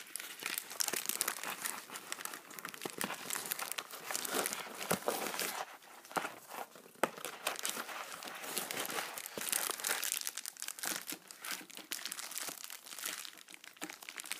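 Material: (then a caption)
Metallic foil. A shiny pink metallic foil padded mailer with a bubble-wrap texture is gripped, rubbed with the knuckles and crinkled with the fingertips. Dense, bright crinkling and crackling goes on throughout, with little low end and quick pops that die away instantly.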